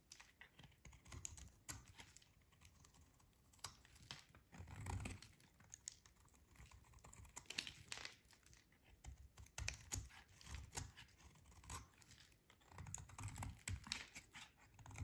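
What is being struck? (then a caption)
Bar of soap shaved with a metal blade. A short metal blade shaves a solid, hand-sized bar of dry pale yellow soap, scraping crunchy strips that pile up below. The clip is a quiet, steady run of crisp, dry scratches and crackling crunches that come in bursts, with bright high grit over soft low thuds.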